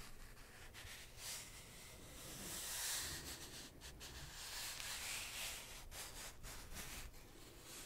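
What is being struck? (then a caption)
Small cardboard box. Fingertips rub and scratch a small, flat cardboard product box with a kraft-brown edge and a black printed front, likely hollow, held in one hand in front of the microphone. The result is a soft, steady, bright scratchy hiss with faint low rumble underneath, swelling and easing slightly as the fingers move.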